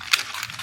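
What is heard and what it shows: A K18 dry shampoo spray can is shaken, giving a bright, hissy slosh with several quick pulses that reveals liquid inside rather than a dry aerosol product. When sprayed, the can confirms it: the spray comes out wet.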